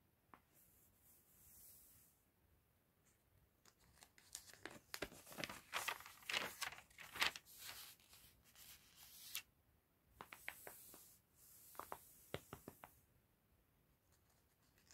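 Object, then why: Glossy paper catalog pages. Fingertips and a cotton glove rub over and turn the thin pages of an open glossy paper fashion catalog lying on a table. Soft, bright brushing hiss alternates with bursts of crisp, crinkly rustling and short sharp snaps as the pages flip. The sound is quiet overall, with the busiest page handling in the middle of the clip.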